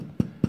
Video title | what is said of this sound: Baking beautiful homemade sourdough bread | tap it and make sure it sounds Hollow if it doesn't sound hollow you can put it back for a few more minutes